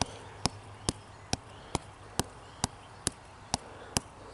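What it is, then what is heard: Living tree trunk with bark. The fingers and short nails of a bare hand scratch and rub a slender, standing living tree trunk of solid wood with textured grey-green bark. A soft, steady rasp runs throughout, punctuated by ten sharp, dry clicks at a regular pace of about two per second, each dying away instantly, over a faint low hum.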